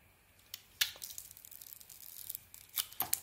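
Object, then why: Bar of soap cut with a small metal blade. A small metal blade carves a solid, hand-sized red beaded bar of soap with a white interior. The sound is a quiet, bright, crisp scraping and crackling, broken by several sharp snapping clicks as pieces break away.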